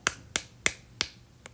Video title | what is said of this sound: 【新手挑相機】丟掉入門Kit鏡直上大光圈才是唯一正解？Kit鏡適合這兩種人使用｜Eng CC sub | It's very plastic. Completely plastic. You knock on any part, it's plastic.